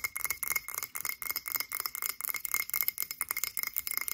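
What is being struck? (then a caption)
Frosted glass candle jar. A frosted blue glass cylindrical candle jar held in both hands is tapped quickly with long acrylic nails in an uneven rhythm. The result is a dense run of short, bright glassy clinks with a ringing tone around 2.2 kHz that dies away almost at once, with almost no low end.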